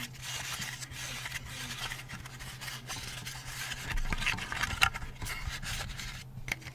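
Fingertips and nails rub, scratch and tap the carved wings of a hand-sized, lit, laser-cut layered plywood butterfly night light from Hi Park, held up in front of the face. The result is a steady, dry, bright scratching and rasping texture over a low constant hum, with short, sharp taps standing out and the sound growing louder around the middle of the clip.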